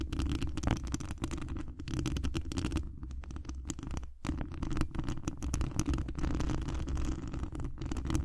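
Long acrylic nails on both hands scratch the hollow mesh wire dome grille of a large condenser microphone, producing a dense, continuous run of rapid scratching and scraping. The sound is dominated by deep, boomy rumble with a fainter crackly texture on top. It briefly cuts out just after four seconds before resuming.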